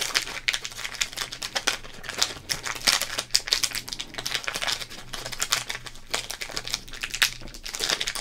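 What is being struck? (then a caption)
Thin plastic trading card pack wrapper. Fingertips crinkle and fold a small Topps trading card pack in a thin, printed plastic wrapper. The result is a continuous run of bright, crackly crinkles with quick, sharp snaps that fade almost instantly, and very little low end.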